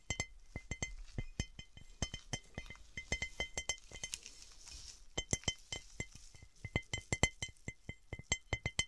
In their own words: 01:45 - 08:13 - Scratching & tapping on textured cut glass